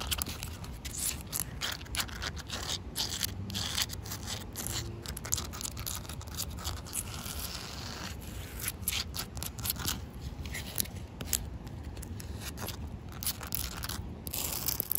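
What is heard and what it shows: Short painted nails and fingertips scratch and tap the rough surface of a large, solid, damp grey outdoor concrete slab. The result is a steady stream of gritty scraping broken by many quick, dry taps with almost no ring. It carries a low rumble underneath and bright, crackly scratching on top.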